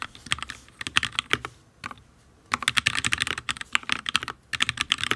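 Fingertips of both hands type on a full-size HyperX Alloy Origins RGB mechanical keyboard with Fire switches and ABS keycaps on a steel plate. The result is bursts of sharp, bright, clacky key taps with almost no low end and very short decay. A brief near-silent pause falls around the two-second mark before fast typing resumes.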